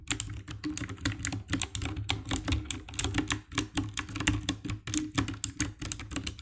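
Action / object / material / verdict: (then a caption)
tap / plastic mechanical keyboard / plastic / none. Fingertips and nails type on the keycaps of a compact 60% black plastic mechanical keyboard with an RGB backlight, tapping out a quick, uneven run of key presses. Each press gives a short, dry click with a bright top and a soft low thump underneath, dying away almost at once.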